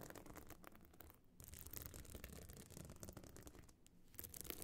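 Long nails scratch the sides of a small, hard, metal-frame clutch bag covered in glued stone and shell chips, standing open and hollow. A dense, gritty rasping runs almost continuously, with a hollow low body and bright crackle, pausing briefly twice before picking up again.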